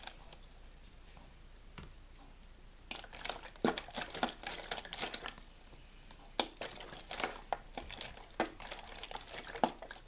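Fingers squeeze, crinkle and tap the ridged walls of a clear plastic water bottle with a label and cap, hollow and possibly holding a little water. After about three quiet seconds, bursts of bright crackling crinkles and sharp taps come in clusters, with a brief lull before a final run of crisp taps and crinkles.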